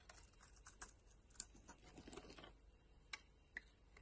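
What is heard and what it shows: A solid green bar of soap held in the palm has its edge shaved with a metal utility knife blade into crumbly flakes. The result is a quiet run of short, dry, bright scraping clicks and crackles, with a few sharper ticks standing out.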